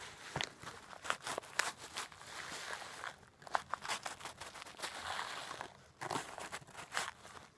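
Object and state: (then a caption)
Plastic bag of coarse bath salt. A clear plastic bag held upright and partly filled with coarse pink-white rock bath salt crystals is squeezed and shaken by hand and nails. The crystals crunch and grind against the crinkling plastic in a dense run of sharp, bright, dry bursts. Brief quieter pauses break up the sound before it picks up again.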